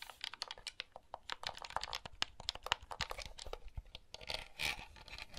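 Fingertips press the buttons and handle the casing of a small, hollow blue plastic handheld game console. A rapid, irregular stream of quiet, sharp plastic clicks and taps is heard, mostly bright with little low end, and each click stops dead with no ring. Toward the end, a brief scratchy rubbing of the casing mixes in with the clicks.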